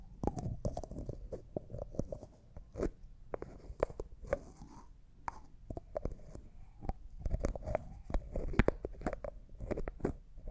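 A small, hollow, clear jar that looks like glass and appears empty, with a white plastic lid, is held in both hands while the lid is twisted and tapped with fingernails. A steady stream of quick, dry clicks and soft taps comes with faint scraping from the twisting lid. The sound is mostly low and thuddy, and each tap dies away almost instantly with no ringing.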